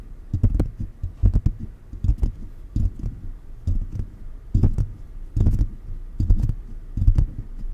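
Fingers of both hands, held close, tap and rub on the hollow mesh grille of a silver metal condenser microphone throughout. The sound is a string of deep, boomy thumps in uneven clusters, with soft scratchy rubbing and faint bright ticks between them. The taps land irregularly, each dying away quickly.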